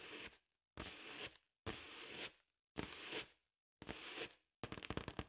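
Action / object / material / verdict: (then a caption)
scrape / inflated latex rubber balloon / latex rubber / none. Long acrylic nails scratch across the surface of a large, hollow, inflated blue latex balloon in five separate rubbing strokes, each a bright, rasping hiss lasting about half a second. The clip ends with a quick run of sharp nail taps on the balloon.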